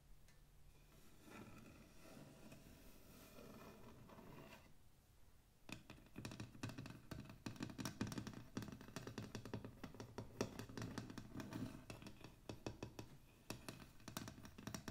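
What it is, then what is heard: Painted wooden box lid tapped and scratched with fingernails. Long pink acrylic nails scratch and tap across the closed lid of a medium, hollow hexagonal wooden box (likely MDF), its white-painted lid printed with a blue mandala. The first five seconds bring soft, steady scratching, then after a brief lull rapid, irregular taps and clicks take over. Each tap gives a short, hollow, low thunk over a bright scrape.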